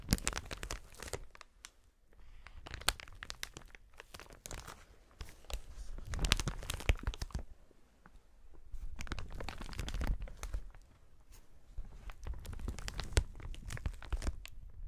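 A clear, hollow, inflated plastic air-pillow packaging strip is held in both gloved hands and squeezed and rubbed. It gives off dense bursts of crisp crinkling and crackling, with a heavy low rumble under bright snaps, broken by brief quieter pauses near 2 and 8 seconds.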